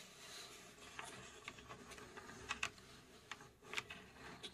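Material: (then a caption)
Plywood. Long acrylic nails scratch and tap the front panel of a hollow, cube-shaped laser-cut plywood mechanical safe model (UGEARS), about 20 cm across and held in both hands. Soft, steady scratching hiss runs throughout, punctuated by about nine quiet, dry, bright taps at irregular intervals that die away almost instantly.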